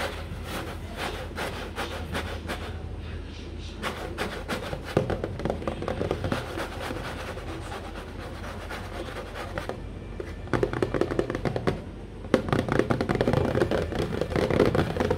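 Fingertips and nails scratch and rub across the front of a large, hollow, printed cardboard cereal box, making a steady dry rasping with quick flicking scrapes. The scratching grows louder and busier toward the end.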